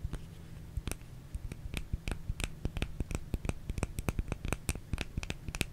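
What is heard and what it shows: A small, solid white oval bar of soap is held in one hand and scratched and tapped with the long painted nails of the other hand, close to the microphone. Crisp, dry clicks with a bright top come in a quick, uneven series, joined by soft scratching over a steady low hum.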